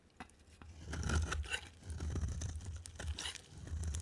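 A hand-held bar of dry, solid soap striped blue, white and green is scraped and carved with a utility knife blade. Crisp, crunchy scraping and tearing sounds come in rough bursts, with bright, dry crackle over a heavy low rumble.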